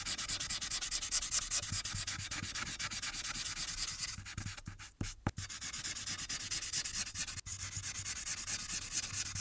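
A marker tip rubs quickly back and forth along the right edge of a thin paper coloring sheet on a clipboard while the other hand holds the sheet. The result is a steady, bright, scratchy rubbing with rapid strokes that briefly thins out midway, broken by a couple of sharp clicks, before the rubbing resumes.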